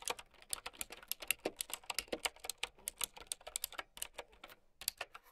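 Continuous typing with long nails on a plastic mechanical keyboard with round keycaps produces about thirty quick, bright clicks. Each click is dry and short, with little low end. The keystrokes come at an uneven, steady pace.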